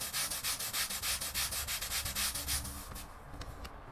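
A long-handled bristle brush scrubs a small, wet, foamy grey patterned pile rug in quick back-and-forth rubbing strokes. Each stroke makes a bright, hissy scratching swish over a faint low rumble, repeating rhythmically at about three per second. The strokes grow softer and thinner over the last second.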